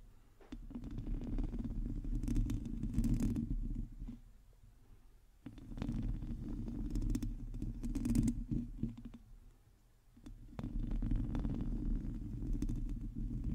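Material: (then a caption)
Metal mesh. Long teal nails of both hands scratch a hollow domed metal mesh microphone grille in three bursts, with short quieter gaps between them. The scratching comes through as a dense, low, rumbling rasp centered around 200 Hz, with faint bright streaks from the nail strokes.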